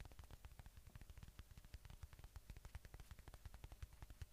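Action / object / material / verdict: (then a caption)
tap / polyurethane foam squishy toy / polyurethane foam / none. Fingertips and nails tap and scratch the surface of a palm-sized watermelon-slice squishy toy made of soft solid polyurethane foam, red flesh with a green rind, held right at the microphone. Around thirty quick, dull taps land in a steady stream, each a short, deep, muffled thump with almost no ring. Faint bright scratchy texture sits between them.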